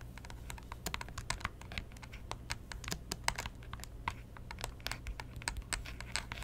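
Long painted fingernails tap and scratch the screen and casing of a small white plastic Nintendo 3DS XL, a hollow electronic device opened flat on a cloth-covered table. Quick, dense, bright clicks come in irregular clusters, each dying almost at once, over a low steady hum.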